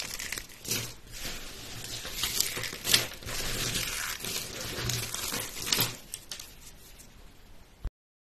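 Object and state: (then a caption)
Dry soap shavings crushed. Light green dry soap strips and flakes, small brittle pieces on a white surface, are snapped and crushed with fingertips and rubbed under the hand. It makes dense, bright, dry crunching and crackling with a few sharper snaps rising above it. The crunching thins toward the end and stops abruptly, followed by silence.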